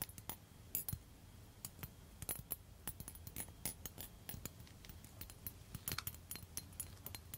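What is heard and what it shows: A blue liquid-filled glass facial ice globe is tapped with long metal nail tips, then held near the face while the tapping continues. A quick, uneven run of bright, short glassy clicks and clinks rings over a faint low rumble.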